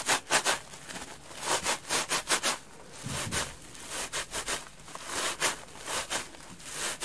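An orange, rubbery bath sponge with large holes and a rope loop, wet and soapy, is squeezed and rubbed with fingers and long dark nails. It makes a series of short, bright, wet squelching and scraping bursts with hissy high-end texture. Quieter rubbing fills the gaps between them.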